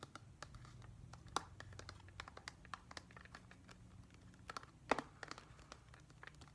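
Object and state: Plastic whale-shaped humidifier.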